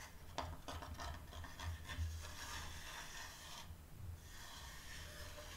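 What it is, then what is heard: Wooden door sign. Long dark-painted nails scratch and rub across a flat, solid, varnished wooden plaque about 30 cm wide, lettered "No admittance except on party business," lying on a teal cloth. A series of short, raspy scratches in the first two seconds gives way to a steadier, bright rubbing hiss over a soft low rumble.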